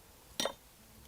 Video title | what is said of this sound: Belize City BBQ, Charcoal Making, Mango & Guava Jelly | It sounds like glass, like you say.